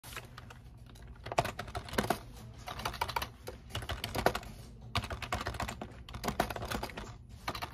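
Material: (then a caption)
Plastic. A full-size black plastic computer keyboard resting on a desk is typed on continuously with the fingertips of one hand. The result is a steady run of quick, light clicking key presses with short, dry taps and a few louder strikes.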